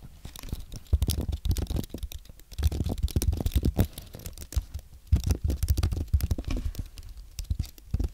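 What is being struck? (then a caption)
Aluminium and plastic keyboard. Fingertips type on a compact white aluminium and plastic Apple keyboard, producing rapid bursts of soft, dull key taps with a deep, thumpy low end and very little brightness. The clicks come in quick runs separated by brief pauses, each keystroke short and dry with almost no ring.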